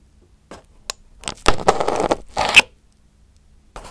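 A pin held in the fingertips pokes and picks at crumpled aluminum foil wrapped over a round microphone head. Short dry ticks give way to dense, bright crinkling crackles and a sharp later burst, each cutting off almost instantly into near silence.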